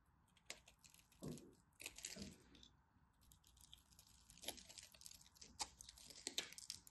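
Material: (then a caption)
Soap. A black craft knife carves and scores a dry, solid teal-and-white striped bar soap into small cubes. It makes quiet, bright, crunchy scraping and crisp snaps in irregular bursts, with a few fuller thuds early on.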